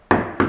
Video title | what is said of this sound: เคาเตอร์ไม้สัก • สีเสี้ยนดำ • #ร้านปัญญาเฟอร์นิเจอร์ไม้อยุธยา | เสียง แน่นมากต้องบอกว่าตัวนี้มาให้หนามากครับ